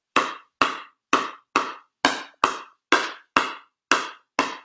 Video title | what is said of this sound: How Pickleball Paddles are Constructed with Gearbox Pickleball Owner Rafael Fillipini | It sounded a lot lower frequency to me, the second one. It just is. Didn't have the ping. It didn't have that like thud. It's a lot cleaner.